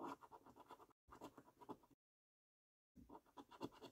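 A held coin scratches the latex coating off the circles on a thin paper £25 "5x £1 Million Prize Portal" National Lottery scratch card. About a dozen quick, dry scraping strokes come in three bursts, with brief silent pauses between them.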